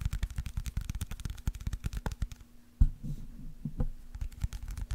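Fingernails tap and scratch a small white plastic eye drop bottle that has a label and holds liquid. A quick run of soft, dull, low taps pauses, then a sharper knock leads into muffled scratching and more tapping. A faint steady hum sits underneath.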